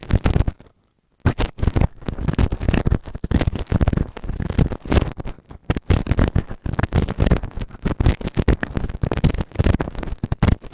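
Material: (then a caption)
Silicone. A white plastic spatula held in the fingers scrapes and scratches inside the ear canal of a grey moulded silicone ear-shaped binaural microphone, solid and mounted on a round base, worked on the right ear only. Close, heavy, low-weighted scratching and rubbing comes in rapid, dense bursts with very little brightness, broken by a short silent gap near the start.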